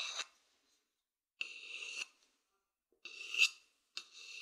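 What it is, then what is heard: Wooden bowl scratched with a stick. A thin wooden stick scratches the outer surface of a hollow, empty wooden bowl held close to the mic. Four separate bright, raspy scratching strokes are heard, separated by silence, with a strong tone near 2.7 kHz and almost no low end.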